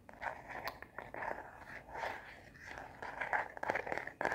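Long natural nails tap and scratch the back of a hand-sized smartphone in a translucent matte plastic case with a black bumper edge and a star print. The result is a fast, uneven stream of short clicky taps and rasping scratches with a mid-range body and bright edges.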